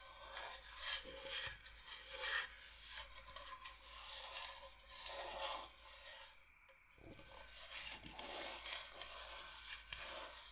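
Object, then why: Thin wooden cutting board. Long painted nails scratch and rub across the surface of a flat, solid, thin light-wood cutting board shaped like Michigan, held upright in one hand. The result is a steady, bright, dry rasping with little low end, rising and falling in strokes, with a brief quiet dip around the 7-second mark before it resumes.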